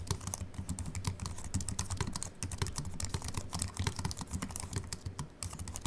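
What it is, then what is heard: Aluminium and plastic keyboard being typed on. Fingertips from both hands type steadily on a compact Apple keyboard with a silver aluminium body and white plastic keys, resting on a wooden desk. The result is a quick, continuous patter of short, crisp clicks with bright tops over a soft low thud, each keystroke dying away almost at once.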